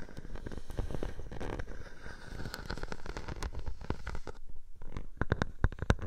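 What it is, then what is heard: Plastic bubble wrap. A clear plastic bubble wrap sheet draped over a microphone is scratched and pressed by long nails. Dense crackling and rustling sit over a heavy low rumble. Toward the end, a few sharper, louder pops stand out.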